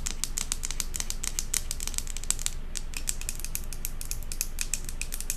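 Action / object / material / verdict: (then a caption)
tap / glass jar candle filled with wax / glass / none. A large glass jar candle with a metal lid, filled with solid wax and tilted, is tapped and scratched on its glass side and bottom with long acrylic nails. The result is a rapid, uneven stream of sharp, bright clicks over a low background rumble, with a brief pause just before the third second.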